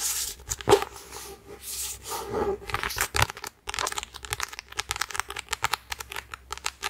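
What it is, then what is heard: Paperback book cover tapped and scratched. A red paperback copy of the novel *1984*, a thick solid paper book with a glossy card cover, is held in one hand near the mic while fingertips and short nails tap and scratch its front cover. Soft, bright scratching and crinkly swishes in the first few seconds give way to a quick run of many light, dry taps.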